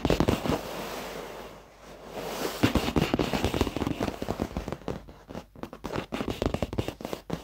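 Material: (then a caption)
Leather. The dark padded leather seat of an office chair, soft over foam, is tapped with the fingertips and short nails of both hands. Rapid, irregular taps and a brushing, scratchy texture give way to quick, dull, muffled patters that die away almost at once, with little high-end brightness.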